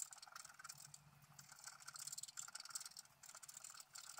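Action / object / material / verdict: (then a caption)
scrape / coated scratch-art paper scratched with a wooden stylus / coated paper / none. A wooden stylus scratches the wing area of a flat black-coated scratch-art paper sheet lying on a table in short, quick strokes. The result is a quiet, dry, bright scratching with rapid, closely packed rasps. Each stroke cuts off almost instantly with no ring.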